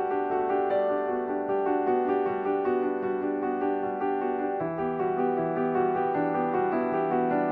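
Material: Nothing is struck.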